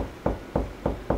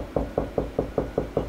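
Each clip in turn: First: Four short, dull knocks with a firm mid-range thump and almost no ring: drywall backed by a stud. Second: Seven evenly spaced knocks with a low, boomy thud that dies quickly: hollow drywall with no stud behind.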